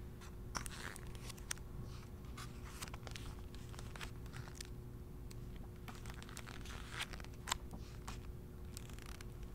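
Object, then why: Paperback book with glossy paper pages. Fingers turn and flip the glossy pages of a handheld paperback travel guidebook, producing a steady stream of soft, crisp paper rustles and brief crackling flicks. The quiet rustling sits over a constant low hum and a faint steady tone.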